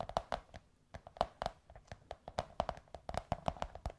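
Long nails tap and scratch on a curved, hollow beige kraft cardboard tube held up in the air. A quick, uneven series of dry, muffled taps each gives a brief hollow tone around 680 Hz that dies almost at once, with soft scratchy brushes in between.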